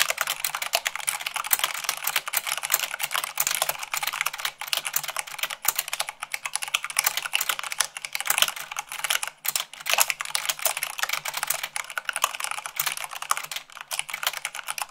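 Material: Plastic.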